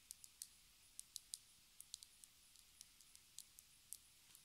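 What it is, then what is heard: Plastic lipstick tube tapped with fingernails. Long red nails tap a small, hollow, black cylindrical plastic lipstick case with a silver band, held in the fingers. About 17 quiet, sharp, high clicks come at an uneven, unhurried pace, each dying away almost instantly with no ring and almost no low end.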